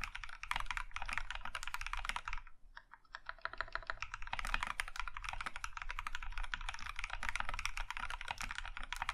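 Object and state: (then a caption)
Mechanical keyboard with plastic keycaps. Both hands type with their fingertips on an Iron 165 compact mechanical keyboard with a maroon metal case and cream plastic keycaps. A rapid, steady stream of bright, clacky keystrokes briefly thins out near the third second before resuming at full pace, each click short and dry.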